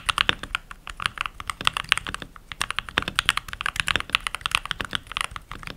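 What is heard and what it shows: Fingertips with short nails type continuously on a full-size backlit mechanical keyboard with pink plastic keycaps, while rings are worn on the fingers. Rapid, irregular key presses produce bright, crisp clicks and clacks with almost no ring and very little low end. Around 40 distinct strokes are heard across the clip.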